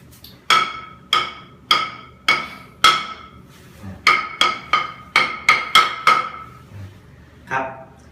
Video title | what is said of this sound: Ep35วิธีตรวจพื้นกระเบื้อง ว่าปูดีไม่ดี ง่ายๆโดยใช้ไม้เคาะดู | ดังแป๊งๆอย่างนี้ก็แสดงว่าพื้นห้องอาบน้ำนะครับก็มีการทา